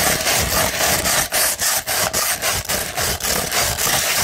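A 100-grit sandpaper sheet, first flat and then rolled into a tube, is scratched with the fingertips and long nails. Rapid, fairly steady back-and-forth strokes make a dense, bright, gritty rasp with short dips between strokes.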